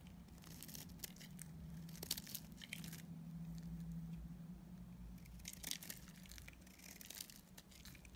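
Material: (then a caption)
Soap. A utility knife blade shaves and cuts a solid soap bar with a grey shell and pink core held in the hand. The blade makes short, bright, crinkly scraping strokes in irregular bursts, with a few sharper crunches, over a steady low hum.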